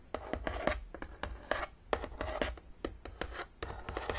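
Long nails tap and scratch along the top of a long, closed, hollow printed cardboard Battleship game box. Quick, dry taps with a hollow low thump and very short decay alternate with soft raspy scratching strokes. A faint mid-pitched resonance sounds from the box throughout.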